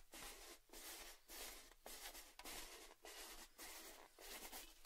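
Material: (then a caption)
Metal. Fingertips tap and scratch the open rim and side of a tall, red, hollow, empty metal Baileys tin held tilted. Nine soft, bright, scratchy rubbing bursts follow one another in an uneven rhythm, separated by brief quiet gaps. Each stroke has a faint low hum underneath and fades quickly with little ring.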